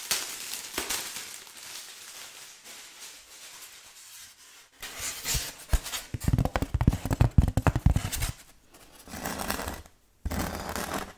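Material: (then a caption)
Styrofoam. A flat grey painted foam Halloween tombstone decoration with green glitter "RIP" lettering, about 40 cm tall and lightweight, is held in both hands while long red-painted nails scratch and tap its textured surface. Soft, hissy scratching gives way to a denser run of dry, crackly taps with dull low thumps, then brief scratching bursts separated by short silences.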